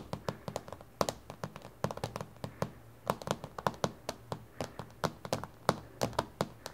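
Both hands tap on a solid, flat, reflective dark glass tabletop with long painted fingernails, sometimes with the fingertips too. About 35 quick, dry clicks and taps are heard in an uneven rhythm, each with a bright tick and a soft low thud. They die away almost at once with a faint midrange tone around 535 Hz.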